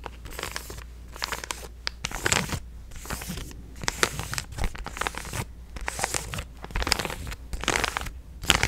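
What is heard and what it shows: A hand-sized, apparently filled purple resealable plastic supplement stand-up pouch is held and squeezed with fingertips and painted nails to make it crinkle. Bright, crisp crinkling and crackling come in short bursts separated by brief quiet gaps, over a faint steady low hum.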